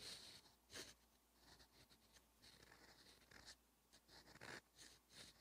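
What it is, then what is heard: Fountain pen writing on a paper notebook page. A steel extra-fine fountain pen nib (Twsbi Eco EF) writes Korean in light, repeated strokes across a thin, cream-coloured lined page of a paperback notebook. Quiet, bright scratches come in short bursts of uneven rhythm, with little low-end sound.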